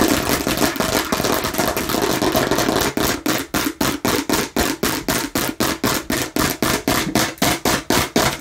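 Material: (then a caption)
Hard plastic. Long nails scratch continuously over a hollow, hard plastic watermelon-slice container with a red spout for about three seconds, producing a dense, bright rasping. The sound then shifts to fast, evenly spaced nail taps on the container, each a short hollow plastic click that dies away quickly.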